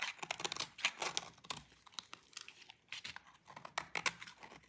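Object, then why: Bar of soap scraped with a knife blade. A utility knife blade scrapes stringy shavings off a solid, dry orange bar of soap held by fingers with long pink nails. A quick, uneven run of short, bright, crackly scraping strokes sounds close and quiet, with almost no low end and barely any ring after each stroke.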